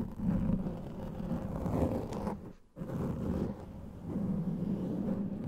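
Fingernails scratch and rub a large black foam microphone windscreen, giving a dense, muffled, low rumbling scrape with little high content. The rubbing drops to near silence for a moment midway, then resumes at the same steady level.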